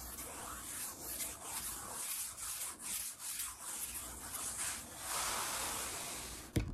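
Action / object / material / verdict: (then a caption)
scrape / wooden tabletop / wood / none. Palms sweep and rub across a large, solid wood-grain tabletop, making a steady broadband brushing hiss with soft rhythmic swells. Fingertips tap the wooden surface, and a short sharp knock lands near the end.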